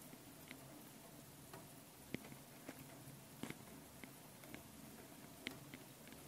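Long painted nails tap and scratch the two metal mesh microphone capsules on top of a small handheld Tascam recorder. Eight faint, sharp clicks stand out over a steady low scratching hiss, each dying away almost instantly.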